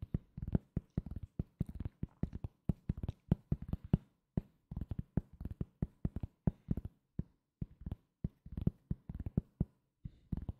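A thin, solid round cork coaster held below the microphone is tapped with fingertips in quick, uneven bursts with short pauses between. Each tap is a soft, dull, low thud that dies away almost instantly, with no bright or ringing edge.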